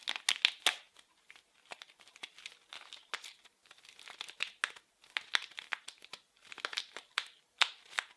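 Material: Plastic film.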